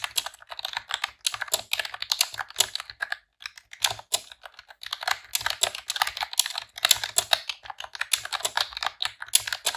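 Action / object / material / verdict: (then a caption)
tap / plastic computer keyboard / plastic / none. Long press-on nails and fingertips type in rapid key presses on a pink retro-style plastic computer keyboard with round keycaps. Bright, sharp plastic clicks and clacks come in quick bursts with brief pauses. Each one stops almost instantly.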